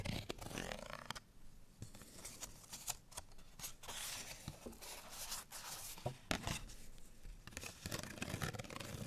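A folded, printed cardstock bottle tag with a barcode and string is held in both hands and scratched with fingernails. The result is a steady run of dry, bright scratches and papery rasps, with a few sharper crackles over a soft low rumble.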